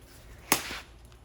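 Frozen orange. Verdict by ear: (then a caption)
Brittle. A frozen orange, its outer skin hard and brittle but the inside not frozen through, is dropped in a drop test. It lands with a single sharp, bright crunch that trails off in a short crackle, and the orange shatters.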